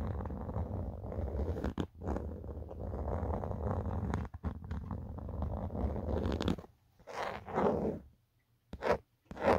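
Fingertips and a nail scratch and rub the textured plastic back of an empty black Otterbox phone case. A dense, rough scratching runs steadily for about six and a half seconds, dull and weighted toward the low end. It then breaks into a few short, separate rubbing bursts with near-silent gaps between them.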